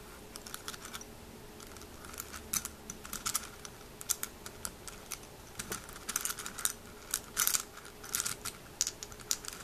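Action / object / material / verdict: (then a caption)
shake / snail shells in a glass jar / shell / none. Fingertips rummage through a small white milk glass jar full of dry, hollow snail shells, lifting individual shells so they clatter. Many quick, bright, light clicks and rattles come in irregular bursts over a quiet steady hiss, each tick dying away almost instantly.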